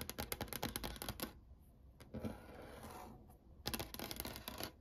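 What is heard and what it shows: Long painted nails of both hands tap quickly on a dark brown wood-grain desk surface by a window, giving sharp, bright clicks. The burst of taps stops for a quiet stretch of soft scratching with a single tap in it, then a second rapid burst of clicking follows.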